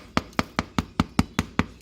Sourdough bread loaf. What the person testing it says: it should sound kind of hollow when you tap on it